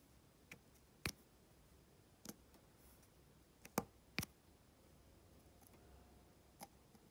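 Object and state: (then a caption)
Resin diamond painting drills pressed onto canvas. A drill pen with a metal tip taps small, solid resin diamond-painting drills into place on an adhesive canvas, giving seven light, dry clicks at irregular intervals. Each click is short and bright with almost no ring, set against a very quiet, faint background.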